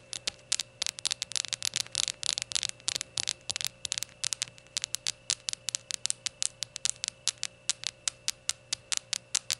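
Long gold nails tap around a small, hollow, glazed ceramic rainbow shot glass standing upright on a towel. The result is a quick series of sharp, bright clicks that die away almost instantly, with almost no low end. The taps come in a dense, rapid flurry at first, then settle into a steadier, evenly spaced rhythm over a faint steady hum.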